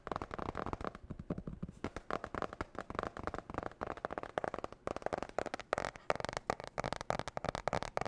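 Long nails rapidly tap and scratch the glossy blue marbled cardboard cover of a spiral-bound notebook held in the hands. The result is a fast, dense, irregular stream of dry, clicky taps mixed with scratchy rustling, with no ring after each hit.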